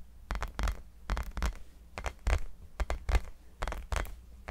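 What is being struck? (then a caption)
Small hollow rubber basketball. Fingertips and nails tap and scratch the surface of a small, hollow, orange textured rubber mini basketball held in both hands. The result is an irregular run of soft, dull taps, often in pairs, with a deep low thump and brief scratchy rasps that stop almost instantly.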